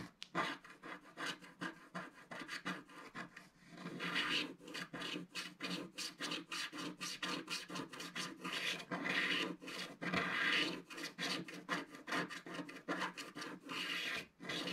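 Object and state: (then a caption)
Scratch-art paper being scraped. A thin wooden stick scrapes a flat, black-coated scratch-art paper page at its lower left in repeated strokes. Each stroke makes a short, dry, raspy scratch with bright hiss and almost no low end. The strokes follow one another in a steady, rhythmic stream.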